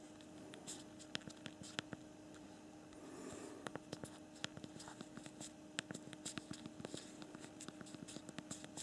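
Thumbs type on the physical plastic QWERTY keyboard of a BlackBerry Priv smartphone, after a finger first touches the screen. Many quick, sharp clicks follow one another, some isolated and some in rapid runs. They sit over a faint steady hum, with a soft brushing swell around the third second.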